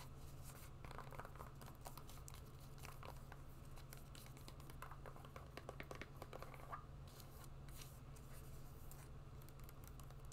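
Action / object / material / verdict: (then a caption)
tap / suede wedge shoe / suede / none. A brown suede wedge shoe is held in both hands while long nails tap and scratch its suede upper and the wedge. Quiet, dry scratches and soft clicking taps come in irregular bursts over a steady low hum throughout.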